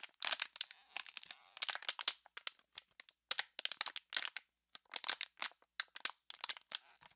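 An empty, clear plastic water bottle, already crumpled and hollow, is crushed and crinkled in the hands. It gives a dense run of sharp, bright crackles and snapping pops with almost no low end. Each pop dies away instantly.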